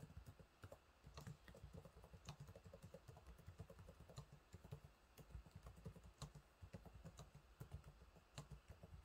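Fingertips type steadily on the low-profile plastic keys of a silver laptop keyboard, producing a quiet, continuous stream of soft, muffled taps. Each keystroke lands as a short, dull thud with a faint click and no lingering ring, with most of the sound sitting low.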